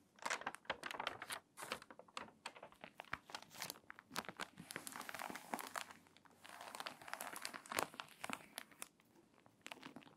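Pages of a crinkly, water-damaged paper magazine are flipped over, then long nails scratch across the open spread. Dense bursts of dry crinkling and crackling fill the clip, with bright, papery texture and little low end.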